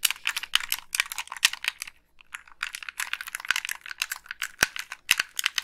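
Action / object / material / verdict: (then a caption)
tap / plastic game controller / plastic / none. Long pink nails click the buttons and tap the shell of a hollow, black Xbox 360 plastic gamepad. The result is a rapid run of sharp, dry, bright plastic clicks with almost no low end and no ring, broken by a brief pause near the two-second mark before the tapping resumes.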